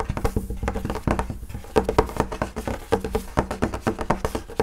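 Fingertips and nails of both hands tap rapidly on the flat, wood-grain top of a school desk, a large solid panel of wood or laminate. The result is a quick, irregular patter of short, dry knocks with a low thud and a hollow tone around 430 Hz. Each tap dies away almost at once.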